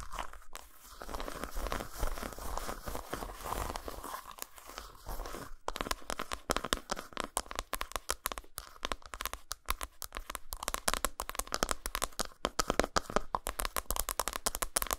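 Long nails rapidly tap and scratch a solid flat dark chocolate bar lying textured side up on a towel. The clip is a dense stream of quick, dry clicks and crinkly scrapes with a mid-range tone, each hit dying away almost instantly.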